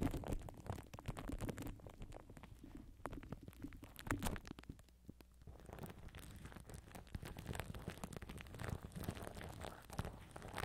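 Fingertips and nails scratch and rub clear plastic cling film stretched tightly over a black microphone grille with hollow mesh underneath. The result is a dense stream of crinkly crackles and soft taps over a deep, rumbling low end. The sound eases into a quieter lull around the middle before the rubbing picks up again.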